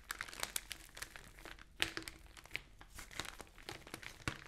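Long nails tap and scratch across the flat pages of an open newsprint newspaper, and the sheets are flipped. Quiet, crisp crinkling and papery rustles are broken by sharp, bright ticks that die away almost at once.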